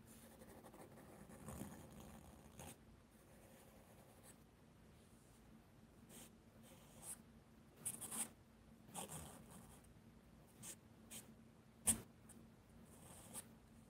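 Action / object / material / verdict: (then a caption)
scrape / charcoal pencil on mixed media paper sketchbook / paper / none. A charcoal pencil scratches and shades small areas on a mixed media paper sketchbook page lying flat. Quiet, dry scratching strokes come in short bursts over a low steady hum, with a few sharper, brighter scrapes standing out.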